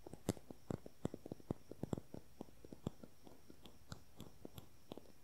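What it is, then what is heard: Plastic concealer tube. Fingernails rapidly tap and scratch along the length of a slim, small, hollow, beige cylindrical plastic concealer tube with a cap. About two dozen quick, dry, clicky taps land in an irregular, fast rhythm, each a short low-mid knock that stops at once over a faint steady hiss.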